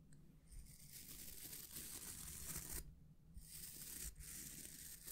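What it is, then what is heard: Wooden bristle hair brush. A small oval hair brush with a solid wooden back and dense natural bristles is held in the hands while fingertips and nails scratch and rub the bristles. The result is a steady, bright, papery scratching hiss over a faint low rumble, broken by two brief pauses before the rubbing resumes.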